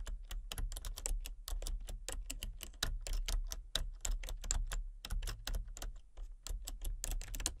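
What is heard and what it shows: Fingertips with painted nails type rapidly on a full-size plastic computer keyboard with a colour-changing backlight. The result is a quick, uneven stream of short, crisp clicks and taps that die away almost instantly, over a steady low hum.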